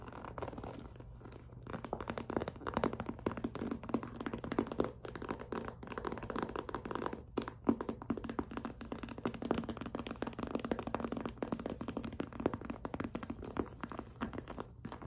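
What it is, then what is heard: Clear vinyl zip pouch. Fingers with long nails crinkle, grip and scratch the plastic sheet of a clear, flexible, hollow vinyl zip pouch with pink trim. The result is a steady run of dense crinkles, scratches and soft taps with very short decay. The sound sits mostly in the low-mids, with little bright content.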